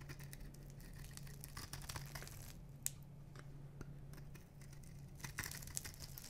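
A solid blue and white striped bar of dry soap, held in one hand, is scraped or cut with a metal knife blade. It gives off a quiet run of dry, crisp crunching and scratching, with sharp bright clicks over a steady low hum.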